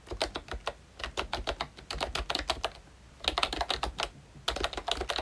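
A ROYCHE full-size, Mickey Mouse-themed retro membrane keyboard with round plastic keycaps is typed on continuously with the fingertips of both hands. Quick, bright plastic clicks and taps come in three bursts separated by short pauses, each keystroke short and dry with almost no ring.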